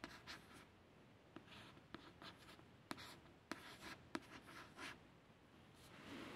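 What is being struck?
Glossy card paperback cover.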